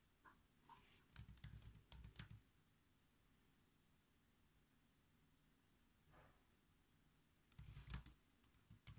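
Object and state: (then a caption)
Plastic laptop keyboard being typed on. Fingertips type on the black plastic keys of a silver laptop resting on a desk. Quick bright key clicks with a soft low thud come in bursts at the start and the end, with a quiet pause and a single light tap in between.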